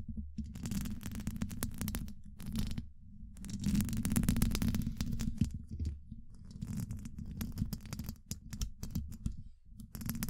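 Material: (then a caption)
Steel mesh. Long acrylic nails on both hands scratch and tap across the hollow domed steel mesh grille of a large condenser microphone. The result is a dense, irregular stream of quick scratchy rasps and taps, heavy in the low end, with a faint hum around 210 Hz and short bursts of brighter crackle. It comes in several busy stretches separated by brief pauses.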